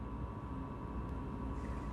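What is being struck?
Nothing is struck.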